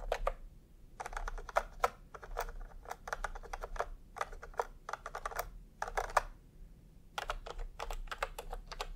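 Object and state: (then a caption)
Plastic typewriter-style keyboard being typed on. Fingertips type in quick bursts on a full-size plastic typewriter-style computer keyboard with round retro keycaps in peach and cream, lying on a white cloth. Crisp, short clacking taps come in rapid runs separated by brief pauses, each key strike ending almost instantly over a faint low background hum.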